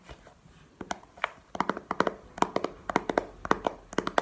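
Long painted nails tap on the face and edges of a small, hollow, clear plastic video game case held in the hand. The result is a quick, uneven run of short, dry clicks, mid-pitched with bright ticking edges, each dying away almost instantly.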